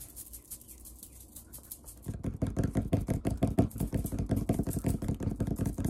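Fingertips scratch and quickly tap the surface of a large, solid brown wood-grain tabletop. Soft, quiet scratching for the first two seconds gives way to a fast, irregular run of dull, low knocks with very short decay, each carrying a faint bright tick.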